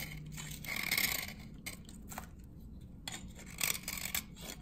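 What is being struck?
Glycerin soap bar shaved with a metal blade.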